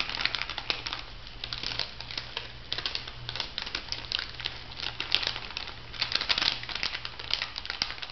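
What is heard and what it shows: An orange plastic-foil cosmetic sachet is scratched and crinkled by long nails, giving a steady stream of bright, crackling crinkles with sharper peaks throughout. A faint low hum runs underneath the whole clip.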